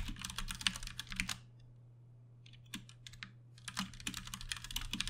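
Both hands type with their fingertips on a compact 60% Ducky One 2 Mini mechanical keyboard on a desk, with plastic keycaps, Cherry MX Brown switches and RGB backlighting. Rapid, bright, clacky keystrokes come in bursts, with a quiet pause in the middle, over a steady low hum.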